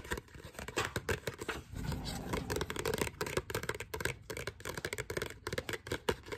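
A small, thin, flat glossy printed paper card with a forest picture and the words "First Things First" is held in both hands and scratched and rubbed with long dark-painted fingernails. Quick, dry scratching clicks come in a rapid, uneven stream, with a steadier stretch of rubbing partway through.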